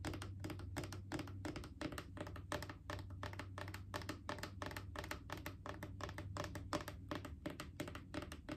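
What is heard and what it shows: Long acrylic nails tap rapidly and unevenly on a Clorox disinfecting wipes canister, a mid-sized hollow plastic cylinder, for about nine seconds. Each tap is a quick, dry click with a faint hollow tone that dies away almost at once. A steady low hum sits underneath.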